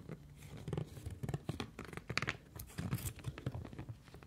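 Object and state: Silicone cleansing pad.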